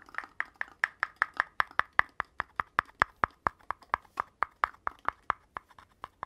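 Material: Cardboard.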